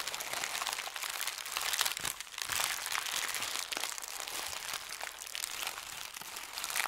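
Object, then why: Thin paper sheet. A thin white paper sheet is crushed into a ball and crumpled in the hands. Dense, bright crinkling and crackling runs steadily throughout, with sharp papery snaps and almost no low end.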